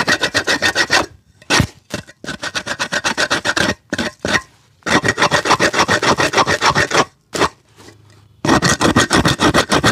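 A small red-handled rasp files the rubber sole of a worn black leather shoe, hollow and empty, held between the feet. Quick, steady scraping strokes come in runs broken by brief pauses, giving a bright, gritty rasp.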